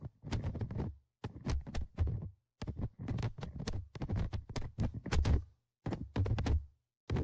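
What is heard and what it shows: Dark tweezers tap and scratch the perforated metal mesh microphone grille on top of a Tascam DR-100mkIII handheld recorder with a hollow plastic and metal body, and the recorder picks up the contact itself. Clusters of quick, dull, low-heavy tapping and scraping thuds come in bursts separated by brief silences, each contact dying away almost at once.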